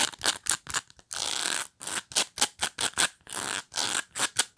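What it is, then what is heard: Plastic pet brush. Long nails scratch across the surface and edge of a black pet brush with dense plastic bristles. The result is a run of short, bright, crackling scratches broken by two longer sustained scrapes, with almost no low end.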